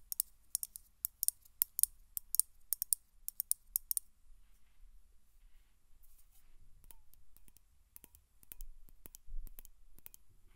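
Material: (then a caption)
Metal. A Glade aerosol spray can, a hollow metal cylinder with a plastic cap, is briefly moved or turned, then tapped and scratched on its metal base and side with long nails. Sharp, bright clicks come in a quick run for the first four seconds, followed by quieter rubbing and scratching with scattered taps. The hits are dry and die away at once, with no ringing.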